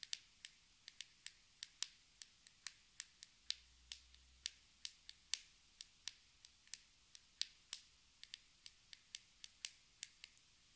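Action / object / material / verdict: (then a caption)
tap / small plastic cosmetic jar with lid / plastic / none. Long red nails tap and twist the white lid of a small round black plastic cosmetic jar held in the hands. The result is a quiet series of around 35 crisp, bright clicks, spaced irregularly over about eleven seconds, each very short with almost no ring and hardly any low end.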